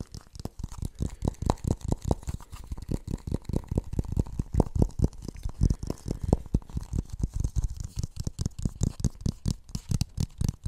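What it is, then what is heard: Plastic funnel. A medium-sized, hollow, empty blue plastic kitchen funnel is held near the microphone and tapped and scratched on its outer surface with fingertips and nails. Dozens of quick, dull, low thumps sound in a steady rhythm, each dying out at once with no ring, under a faint scratchy texture.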